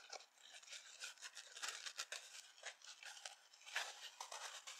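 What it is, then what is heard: Dry foam sponge with scouring pad, scratched. Long nails scratch a dry, palm-sized yellow foam kitchen sponge held up close, first across its dark abrasive scouring pad side and then across the yellow foam side. The result is a quiet, continuous run of bright, dry rasping strokes with almost no low end and each scrape fading quickly.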